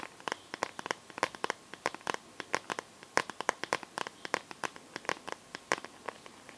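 Long nails tap and scratch the back and edges of a smartphone in a clear plastic case filled with liquid glitter. The result is a rapid, irregular run of dozens of sharp, crisp clicks with bright ticking edges and almost no low end. Each tap dies away almost instantly between the hits.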